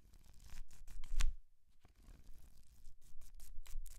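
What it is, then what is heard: Paperback book pages riffled. Painted nails riffle and scratch through the paper pages of a thick paperback book held open in one hand. Dry, papery rustles and scratches come in short bursts, peaking in one sharper crackle before a brief near-silent pause. The quick, bright page-flicking then resumes over a faint low rumble.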